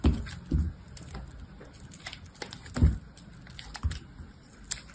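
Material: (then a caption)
Soap. An orange box-cutter blade cuts and scrapes thin slices off a palm-sized, solid blue bar of soap that is wet and foamy on the surface and held in one hand. The cuts come as soft, dull, low thuds with brief bright scratchy ticks over a quiet, close background, and the sound dies away quickly after each stroke.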